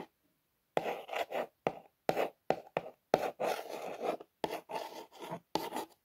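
Long nails trace and scratch along the printed Air Bus lettering on a cardboard toy box. The result is a series of short, dry rasping strokes separated by brief silences, with a papery midrange scrape and a faint bright edge.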